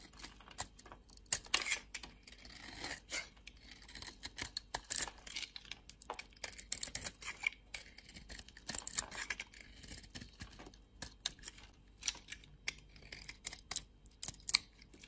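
A metal blade carves and scrapes a solid red oval bar of soap with a white core, held in the hand. It makes quiet, crisp, bright scraping and crackling cuts in dozens of short bursts with almost no low end. Each stroke stops dead, with no ring after it.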